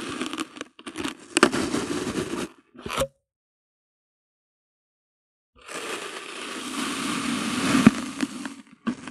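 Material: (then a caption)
Kinetic sand. A hand-held clear plastic bottle's rim cuts a solid, flat slab of pink kinetic sand resting on white paper into pieces. Grainy, crackling crunches and scrapes come in bursts, stop for about two and a half seconds, then return as a longer, louder stretch of steady crunching with bright grit.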